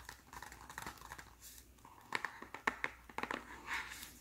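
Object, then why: Small folded cardboard box. Fingertips tap and scratch the folded top flap and front of a small white cardboard press-on nail box held in the hands. Soft, dry scratching and crinkly rustles give way to a run of sharper, irregular taps, each clicking off quickly with no ring.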